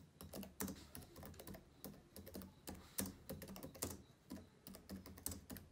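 Fingertips of both hands type fast on the plastic keys of a black laptop keyboard. The result is a quick, uneven stream of soft tapping clicks, each with a short low thud and a brief bright edge that fades almost at once.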